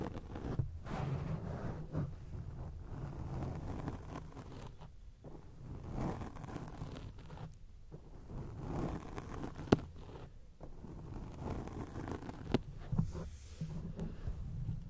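Long acrylic nails scratch a round grey foam windscreen covering a microphone, producing a continuous muffled, low-heavy rustling and scraping. The texture swells and dips in waves, with a few sharp ticks standing out as the nails catch the foam.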